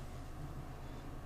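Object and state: Nothing is struck.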